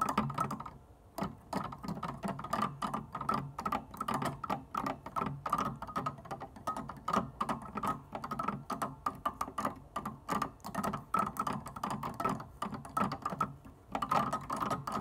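Fingertips and long painted nails rapidly tap and scratch the plastic white and black keytops of an upright piano keyboard. The result is a dense, steady stream of short, dry plastic clicks and light scratches with almost no ring and little low end. There are brief lulls near the start and just before the end.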